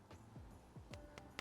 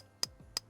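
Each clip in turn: First: glass Christmas bulb, rings when tapped. Second: plastic bulb, dull plastic sound.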